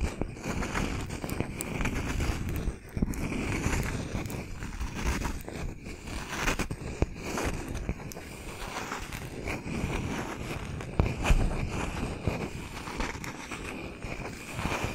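Fingernails scratch and tap on a palm-sized, round slice of solid wood with a bark rim. The result is a steady, dense stream of dry scraping and crackly clicks, heavy in the low range, with a few sharper taps standing out.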